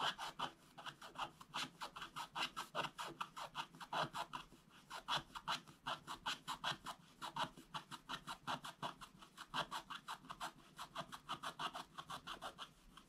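A wooden stylus scratches back and forth across a black coated scratch-art paper page. It makes a rapid, uneven series of dry, raspy strokes, each a short bright scrape with energy spread through the mids and highs. The strokes run steadily throughout at a quiet level.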